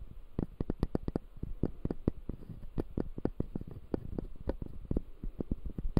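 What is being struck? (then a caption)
Acrylic and plastic dental teeth model. Fingertips scratch the white plastic teeth of a closed, solid dental model made of clear acrylic. The result is a quiet, rapid, irregular series of dry clicks and scratchy ticks, heavy in the low end, with each one ending instantly.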